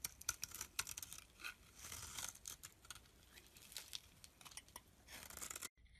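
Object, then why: Olive soap bar scraped with a knife blade. A utility knife blade scrapes the surface of a solid olive-green soap block held in the palm, making bright, crisp scraping and crackling sounds in a run of quick strokes with a few sharper clicks. The strokes briefly swell into a denser rasp near the end before cutting off abruptly.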